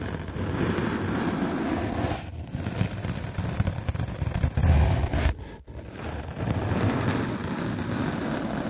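A white rectangular magic eraser block of solid melamine foam, held in the hand, is scrubbed aggressively with a medium black-bristle paint brush. The result is a steady, rough, low-heavy brushing rumble, with a brief dip in intensity just after two seconds and a short near-silent break at about five and a half seconds before the scrubbing resumes.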